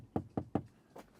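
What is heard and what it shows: Four short, dull knocks on a plastic trim panel of a Chinese-built, European-market Tesla Model 3, said to differ in texture and sound from the US-built car's plastics. The first three knocks are evenly spaced and the fourth is softer. Each is a low, hollow thud that dies away almost instantly with no ringing.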